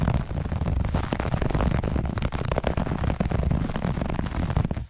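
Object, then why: Looped pile carpet. A grey-beige looped pile carpet on a step or floor is scratched fast with the long nails of both hands. The result is a dense, continuous rough scratching with a low rumbling body, rapid crackly strokes and bright hiss, fading out at the end.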